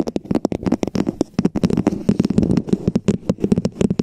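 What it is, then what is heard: Plastic dome cap tapped with nails. Long nails rapidly tap and scratch on a hollow red plastic dome cap fitted over a microphone. The result is a dense run of sharp, dry clicks with a hollow, low-pitched body around 200 Hz. Near the middle, the clicks blend into a brief stretch of continuous scratching.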